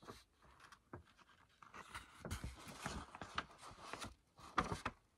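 Fingertips and medium-length natural nails tap and scratch along the top surface and edge of a thin, large, flexible sheet of light-coloured paper or card laid flat. Quiet, dry taps alternate with soft, bright papery scratching and rustling. Each sound is short, with almost no ring after it.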